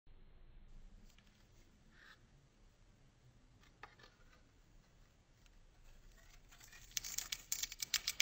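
A solid blue bar of soap held in the hand has its surface shaved and scraped off in layers with a metal box-cutter blade, exposing white soap underneath. Faint, bright scratching and dry crackling run quietly through most of the clip, then build into a quick run of crisp, sharp scrapes in the last second or so.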